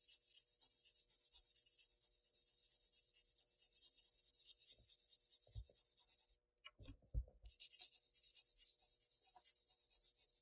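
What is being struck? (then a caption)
Graphite pencil on Bristol paper sheet. A graphite pencil tip scratches shading strokes near the column edge of a flat Bristol paper sheet, making a bright, steady rasping in quick rhythmic strokes. Midway the scratching stops briefly, with a few soft low thumps, before the shading strokes resume.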